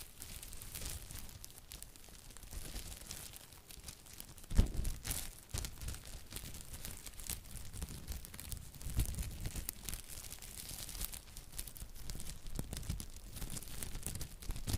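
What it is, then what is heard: Plastic cling film being crinkled. A thin, clear plastic cling film sheet held in both hands in front of the microphone is crinkled and stretched with the fingertips. Dense, continuous crackling and crinkling runs throughout, heavy with close low rumble and thin bright crackle on top. A sharper loud snap stands out just after 4.5 seconds.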